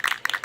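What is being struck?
Metal aerosol spray paint can with mixing ball.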